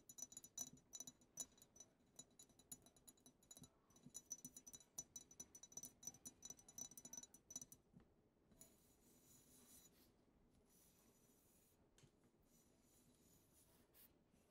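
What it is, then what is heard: Frosted glass perfume bottle. Long acrylic nails tap and scratch the side of a medium frosted glass perfume bottle labeled "the bianco." For about the first eight seconds, rapid, irregular clicky taps ring with a faint high glassy tone. Then the sound shifts to a softer, steady bright scratching hiss.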